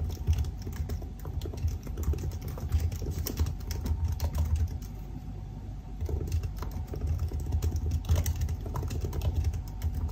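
Fingertips type on the black plastic keys of a silver aluminium laptop keyboard, producing a rapid, continuous stream of short, dry key taps with almost no ring. Beneath the tapping sits a steady low rumble that carries most of the sound's energy, and the typing keeps an even pace throughout.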